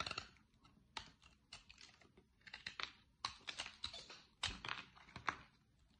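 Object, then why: Bar of soap cut with a small blade. A small metal blade scrapes and cuts thin flakes off the edge of a large, solid bar of dry green soap held in one hand, with one corner already carved away, as shavings pile up below and an empty Fax soap box lies nearby, untouched. The result is a quiet, irregular series of crisp, bright scraping and snapping cuts, each short and dry with almost no ring and very little low end.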